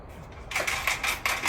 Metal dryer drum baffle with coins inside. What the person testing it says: shake it so you can hear the noise that's in the baffles